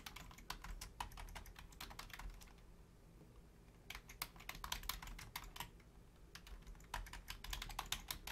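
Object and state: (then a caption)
Plastic computer keyboard. Long painted nails and fingertips type on a full-size black plastic Logitech keyboard with low-profile keys, making quick bursts of bright, crisp clicks over a faint low hum. The typing pauses briefly near the middle and again later before resuming in rapid runs.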